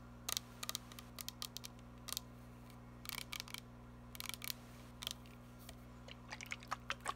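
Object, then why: Plastic mist spray bottle. Long nails tap and scratch the printed label of a filled, glittery plastic body mist spray bottle, up close. Irregular clusters of short, sharp, bright clicks stand out over a steady low hum, each dying away almost instantly.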